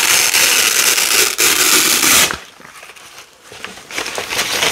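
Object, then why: Nylon hook-and-loop (velcro) strip. Orange and yellow nylon hook-and-loop (velcro) strips are peeled apart by hand with long nails, the strip laid out and then pressed back together. A loud, bright, dense crackling rip fills the first two seconds with a brief break in the middle, then drops to quieter scattered crackles before a sharper tearing crackle returns near the end.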